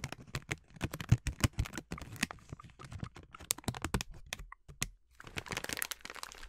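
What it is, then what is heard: Plastic snack bag of sliced almonds. A filled yellow plastic snack bag of sliced almonds is scratched with long nails and squeezed by hand. It makes a rapid, uneven series of sharp, crackly taps and scratches with bright crinkling edges. After a brief lull, it gives way to a denser, continuous crinkling rustle.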